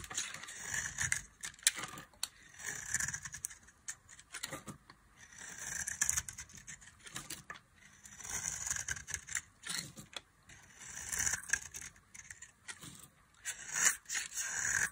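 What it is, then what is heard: Dry bar soap being carved. A box-cutter blade scrapes and carves a solid orange bar of dry soap held in the hand, producing crumbly shavings. Bright, crisp, dry scraping strokes come in repeated bursts with short gaps between them, with almost no low end.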